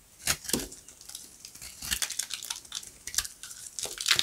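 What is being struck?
Bar of soap scraped with a blade.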